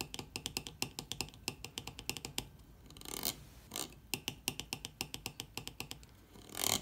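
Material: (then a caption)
Plastic. Fingertips and long nails tap and scratch the top of a white plastic screw cap on a partly full blue 0.75 L water bottle. A rapid series of bright, dry clicks centred around 3 kHz is broken by short, hissy scratching swells midway and again at the end.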